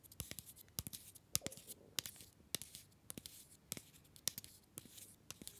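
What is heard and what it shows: A small, solid, orange paper-wrapped Green & Black's mini chocolate bar is held upright near the mic and tapped and scratched with fingernails. The result is a quiet run of sharp, crisp clicks at an uneven pace, mixed with bright papery scratching and a faint rustle between taps.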